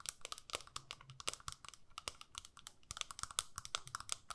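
Long nails tap and scratch on the clear lid of a small square plastic eyeshadow palette. About thirty quick, quiet, bright clicks with dry scratchy texture come in an uneven stream; each dies away almost instantly, with a faint recurring tone near 1.2 kHz.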